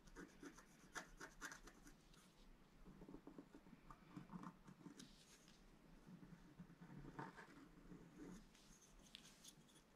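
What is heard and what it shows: A wooden stylus scrapes stripes into a flat black-coated scratch-art card, etching a blue planet. Soft, dry scratching and rubbing strokes come in uneven bursts, with brief brighter scrapes over a quiet background.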